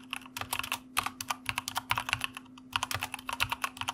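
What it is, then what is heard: Mechanical computer keyboard being typed on. Fingertips of both hands type quickly on a white plastic mechanical computer keyboard, producing about two dozen crisp, bright clicks that stop short with almost no ring. The typing briefly pauses near the middle before resuming, over a faint steady low hum.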